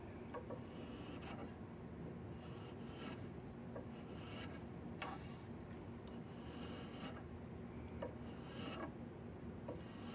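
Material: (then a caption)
Wood. A chisel rubs and scrapes along the surface of a solid diamond willow walking stick. It makes a continuous, low, grainy rasp at a fairly steady level, with brief brighter scrapes breaking through now and then.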